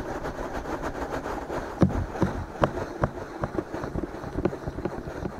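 Fingertips of both hands slowly rub and scratch the soft silicone ears of a binaural microphone. The result is a steady, muffled scratching rustle with a low rumble, broken by brief, sharper scratches at an uneven pace.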